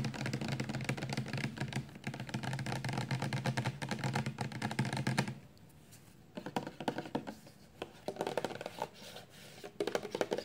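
Long painted nails tap fast on a 400 mL clear amber plastic Johnson's baby shampoo bottle, hollow and full of liquid, first held in the hand and then laid flat. The first five seconds are a dense, steady patter of low, thuddy plastic taps. After that the tapping turns quieter and more scattered, with sharper clicks breaking through.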